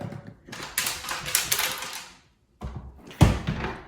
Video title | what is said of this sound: Zadro Towel Warmer TWB01 FAIL! Teardown and FIX Attempt! | there's something rattling around inside of here if you shake it